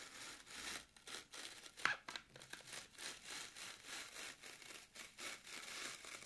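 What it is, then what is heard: Floral foam block scratched by nails. Long pointed nails dig into a solid, porous, rectangular green floral foam brick resting on a wooden table, scratching grooves across its top. About ten quick, bright, dry rasping strokes are heard in a steady rhythm, almost entirely high-pitched hiss with very little low end. One sharper, louder scrape comes near the two-second mark.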